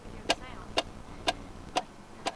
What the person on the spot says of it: that's definitely not wood, not shell, not rock